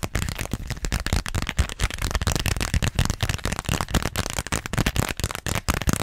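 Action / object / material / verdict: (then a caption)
tap / small vinyl zippered pouch / vinyl / none. Long nails rapidly tap and scratch a small, flat, pink glossy plastic (vinyl) zippered pouch with a flamingo print. Dense bursts of crackly, rattling taps and scrapes run throughout, with a strong low thump under each tap and a bright crinkly surface texture.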